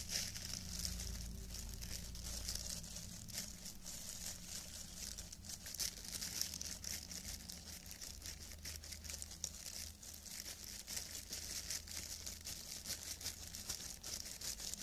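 Thin, clear cellophane plastic film gloves on both hands crinkle as the fingers wiggle and rub the loose film together. A steady stream of bright, dense crackles and rustles runs throughout, over a faint low hum.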